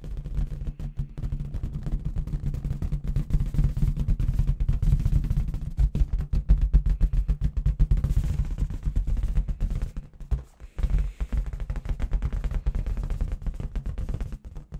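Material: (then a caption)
Latex. Long red fingernails from both hands tap rapidly on a clear, hollow inflated latex balloon with confetti settled at the bottom. The result is a dense, fast stream of deep, dull thumping taps that sound almost drum-like. The tapping runs steadily, then breaks into short pauses and bursts near the end.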